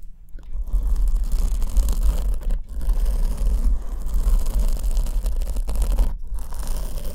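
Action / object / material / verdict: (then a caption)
scrape / foam microphone windscreen / foam / none. Long almond-shaped nails scratch a black foam windscreen on the left microphone, which is held in one hand. The result is a steady, dense scratching and crunching with a heavy low rumble, briefly dropping out about a quarter and three-quarters of the way through.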